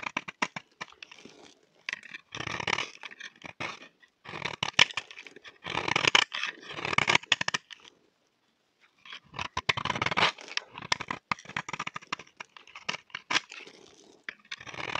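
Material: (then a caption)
Soap. A solid, dry, cream-colored rectangular bar of soap is held in the hand and scraped with a utility knife blade, shaving off powdery curls. Bursts of dry, bright scraping and crinkly crunching come in quick rasping runs, with a short pause midway.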